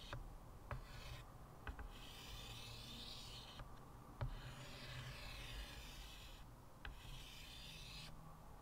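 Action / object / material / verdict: scrape / chalk on a wood-framed chalkboard / chalk / none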